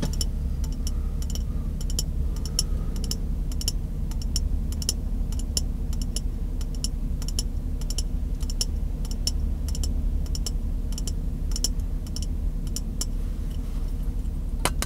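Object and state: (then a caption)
Glass jar tapped with fingernails. An empty, hollow, clear glass mason jar is held close in both hands while fingertips and nails tap its side. Quick, bright, irregular clicks with short rings come at a steady pace over a constant low rumble.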